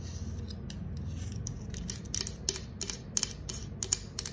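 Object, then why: Aluminium drink can bottom. Long acrylic nails scratch the concave silver metal bottom of a green aluminum soda can held on its side. Short, bright scratching clicks sit over a steady low rumble, growing sharper and more frequent in the second half of the clip.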